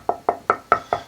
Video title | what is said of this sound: Luthier Wood Review: Swamp and Northern Ash Guitar body wood tonewood | this piece doesn't have the greatest tap tone. But it does ring, and it is hard